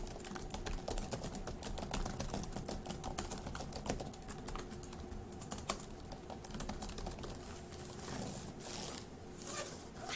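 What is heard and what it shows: Fast two-handed fingertip typing on a dark grey laptop keyboard with plastic keys gives a dense, steady stream of quick, dry clicks and soft taps. The clicks fall very close together with brief bursts of brighter clatter, over a faint, constant low hum.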